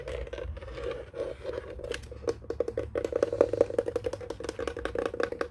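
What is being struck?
Plastic desk telephone base.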